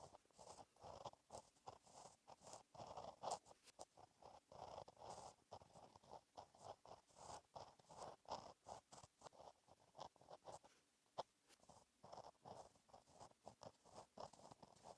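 A gel pen tip scratches across a flat black lined paper page in a notebook while writing cursive. The result is a quiet, steady run of short, dry scratching strokes centered in the midrange around 780 Hz, with faint bright edges and little low end. The strokes come in quick bursts separated by brief pauses.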